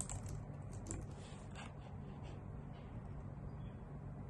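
Long nails and fingertips type on a white full-size plastic computer keyboard with hollow key caps, producing soft, quick clicks and taps. The short, dry clicks sit over a steady low hum and stay at an even, quiet level throughout.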